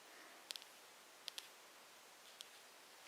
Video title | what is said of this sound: ASMR Makeup Sounds with Plastic Tapping! Quiet Video for Relaxation and Help with Sleeping | packaging makes quite a nice plastic sound